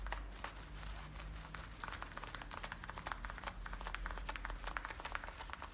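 Fingertips and nails scratch and rub worn blue denim jeans at the front and along the frayed waistband. The result is a steady run of quiet, dry scratching and crinkling strokes over a low hum.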